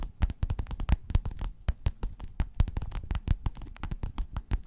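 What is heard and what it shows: Long nails on both hands rapidly scratch and tap across a folded gold metallic, croc-embossed faux-leather pillowcase lying flat. The result is a dense stream of short, dry, muffled thumps and scrapes, weighted heavily toward low frequencies, with each tap dying away almost instantly.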